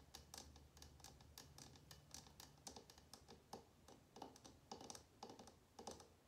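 Long nails tap quickly on a small glass jar candle filled with red wax, held on a table between both hands. The result is a rapid, uneven run of quiet, bright clicking taps with a sharp glassy edge and almost no ring. A faint low hum sits underneath during the first few seconds.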